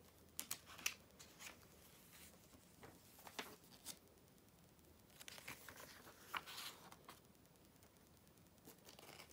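Fingers with long nails quickly turn and smooth down the thin glossy pages of an open July 2013 issue of Vogue magazine. Quiet, bright paper rustles and crinkles come with sharp crisp snaps as each page flips, separated by soft sliding swishes. Each sound dies away almost instantly.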